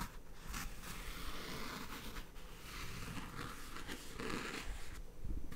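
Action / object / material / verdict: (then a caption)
scrape / faux leather chair backrest with embroidered patch / faux leather / none. A fingertip with a long red nail scratches and taps along the embroidered Cinnamoroll cloud patch on the backrest of a white, padded faux leather AutoFull gaming chair, with a microphone held close. The result is a steady, soft, dry scratching and rustling texture, broken by brighter scraping bursts and light taps over a low, dull body.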